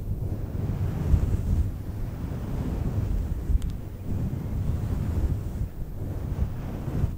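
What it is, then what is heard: Faux fur microphone windscreen being rubbed. A fluffy synthetic faux fur microphone windscreen is rubbed with flat hands and scratched with long nails. The result is a steady, deep, muffled rumble with a soft, wind-like texture, plus a faint bright tick near the middle.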